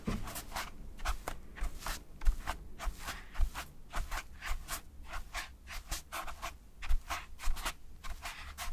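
A large white toilet paper roll with soft paper layers is held close to the microphone and scratched and rubbed with fingertips and short nails. Short, irregular bursts of dry, papery scratching repeat throughout, each a bright crackly swish over a faint low rumble.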